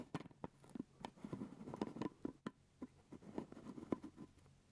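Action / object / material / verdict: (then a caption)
tap / plastic lid on a jelly jar / plastic / none. Fingertips and nails tap and scratch the purple plastic lid of a full grape jelly jar held close to the mic. Quiet, dry, short clicks and scrapes with a low-mid body sound in a loose, uneven rhythm, with a soft low hum underneath. Each tap dies away almost instantly.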